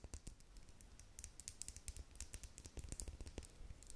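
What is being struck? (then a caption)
Small plastic lip gloss tube with metal cap. Long nails tap rapidly and unevenly along the side of a small, clear plastic lip gloss tube with a metallic cap, partly filled with pink gloss. The quiet taps are dull, low thuds with bright, crisp clicks on top, each dying away almost at once.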